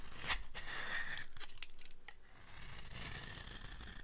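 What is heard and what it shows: A small blade carves a dry, solid green soap bar held in long-nailed hands, and crumbly flakes fall off. The result is a run of soft, dry scraping and crackling with brief sharp cuts and a bright hiss, quieter in the middle before the shaving picks up again.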